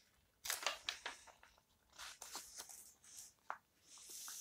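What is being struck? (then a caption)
Old paper book pages. Fingertips and long nails scratch and rub the edges of the yellowed paper pages in an open old book. The result is a series of quiet, dry, bright crinkling scrapes and short rustling bursts with almost no low end, followed by a soft, steady paper hiss at the end.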